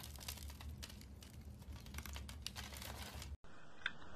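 A metal blade scrapes small cubes off a solid pink rectangular bar of soap that is pre-scored into a grid and held by a hand with long red nails. Dense, crumbly crinkling and scraping runs continuously over a steady low hum for about 3.3 seconds. The sound then cuts out briefly, returns quieter, and a single bright tick follows.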